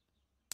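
A cheap, low-end plastic nut just removed from a Chapman ML3 guitar is tapped once, giving a single short, bright click that dies away almost instantly. The tap sounds hollow, and the nut is being replaced with a custom bone nut.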